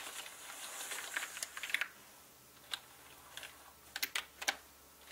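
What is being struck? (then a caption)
Plastic mechanical keyboard keys. Fingertips type quickly on a full-size black mechanical gaming keyboard with plastic keycaps on a dark, hollow-bodied frame. A soft, bright hissy wash opens the clip before about eleven sharp, high, clicky keystrokes stand out, each ending almost instantly.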